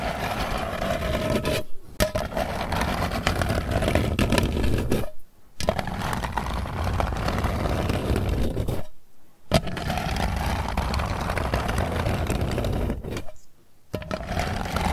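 Long nails scratch and tap around the lid edge of a round, hollow metal candy tin resting on a table. The result is a steady, dense rasping scrape, heavy in low rumble with a faint bright edge. It breaks off in four short silent pauses before resuming.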